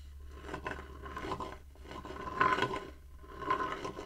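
Fingertips tap and scratch the outer side wall of a shallow, empty light-wood bowl held horizontally. Soft raspy scrapes swell and fade in uneven bursts, with light taps and a faint tone near 1 kHz over a low steady hum.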